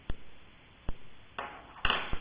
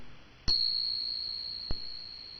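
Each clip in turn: First: cupronickel crown coin, not silver. Second: genuine silver dollar coin.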